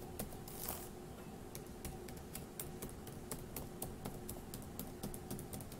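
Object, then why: Plastic laptop keyboard keys. Fingertips of one hand tap the plastic keys of a dark grey laptop keyboard, producing about 21 short, bright clicks at an uneven pace. The clicks stand over a steady low hum.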